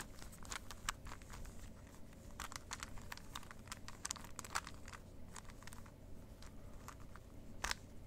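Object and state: Plastic Rubik's cube being twisted.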